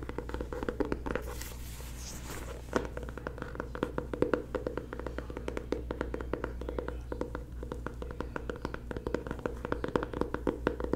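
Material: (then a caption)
Cardboard. A closed, solid dark blue hardcover paper planner marked PLANS is held upright while its cover is tapped and scratched with long nails and fingertips. Quick, dry taps with a hollow midrange knock come in rapid, uneven runs, with a brief hissy scratching stretch early on. A steady low hum sits underneath throughout.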